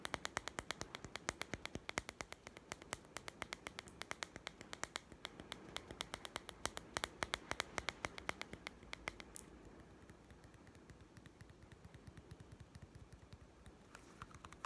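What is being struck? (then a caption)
Small plastic toy food tin. A small hollow plastic toy cat-food tin labelled Kitty Food is held upright and tapped quickly with a fingertip and nail. It makes a fast stream of sharp, bright, clicky taps that die away almost instantly. After about nine seconds the taps turn softer and quieter.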